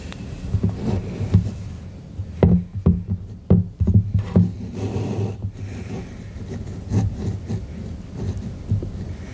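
Fingertips tap and rub the body of a white, soft, hand-sized, hollow silicone duck-shaped night lamp lying on a wooden table. Dull, low, muffled thuds come at an irregular pace, with soft rubbing and brushing between them. The taps are short and die away quickly, with almost nothing bright in the sound.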